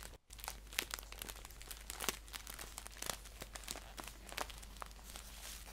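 A green paper tea pouch is held upright in both hands while fingertips and nails scratch and tap its crisp paper. The result is bright, dense crinkling and scratching with quick, sharp taps over a steady low hum, briefly dropping to near silence at the start.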